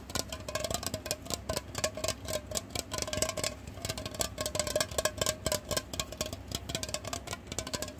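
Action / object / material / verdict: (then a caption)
tap / aluminum aerosol can / aluminum / none. A hollow, silver, cylindrical aluminum aerosol hair spray can of unknown fullness is held horizontally in both hands and tapped rapidly with the fingertips and short nails. The result is a dense stream of quick, bright metallic clicks and taps, each with a short, clear ring around 600 Hz that dies away almost at once, over a steady low hum.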